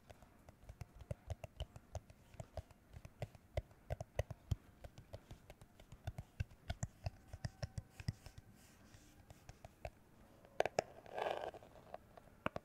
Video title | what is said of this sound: ASMR Tapping Sounds With Cyberpunk 2077 Background | it's a plastic glasses holder case